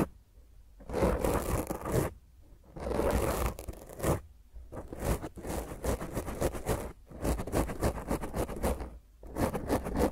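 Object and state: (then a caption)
Foam microphone windscreen scratched. Long painted nails on both hands scratch and scrape a black round foam microphone cover. The result is rough, crackling bursts with a heavy low rumble, separated by brief quiet pauses, and the scraping grows quicker and choppier toward the end.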